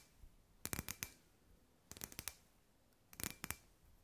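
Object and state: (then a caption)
Glass ball lamp. Long white nails tap on a hand-sized, hollow clear glass sphere lamp with fairy lights inside. The taps come in three quick bursts of sharp, bright clicks that die away almost at once, with near silence between the bursts.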